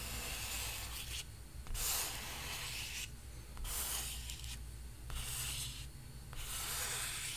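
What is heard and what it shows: A palm and fingertips rub across the surface of a large painted canvas stretched on a frame, making a dry, sanding-like scratch. Bright, hissy strokes come and go in waves over a steady low rumble.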